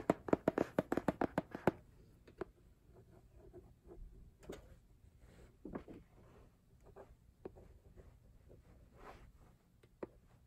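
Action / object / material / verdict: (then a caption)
tap / laminated cardboard hardcover album / cardboard / none. Fingertips and nails tap and knock near the corner of a laminated cardboard hardcover album cover, on its lower teal section, while it is held in the hand. A quick run of dry, sharp taps opens the clip, followed by sparser, softer knocks and light handling rustle. Each tap is short and dies away almost at once.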